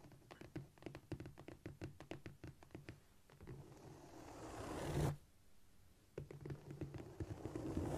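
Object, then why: Cork floor. Long nails scrape and tap with both hands on a flat, solid cork floor. Quick, uneven taps and scratches run for the first few seconds, swell into a continuous scrape that peaks sharply at about five seconds, then drop away. A brief quiet stretch follows before the rapid tapping and scratching resume.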